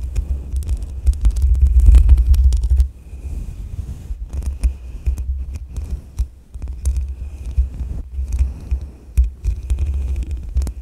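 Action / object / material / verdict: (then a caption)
scrape / metal mesh microphone grille / metal / none. A soft makeup brush rubs over the hollow metal mesh grille of a black USB microphone. It makes a deep, throbbing low rumble with irregular brushing pulses, sharp bright ticks and a faint steady high tone. The rubbing is loudest for the first three seconds, then continues more quietly.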